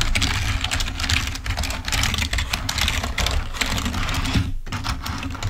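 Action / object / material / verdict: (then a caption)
tap / plastic membrane computer keyboard / plastic / none. A full-size, wired, black plastic Microsoft membrane keyboard lying on a white table is typed on rapidly with the fingertips. It gives a dense stream of short, bright plastic key clicks over a steady low hum, with a brief pause near the end.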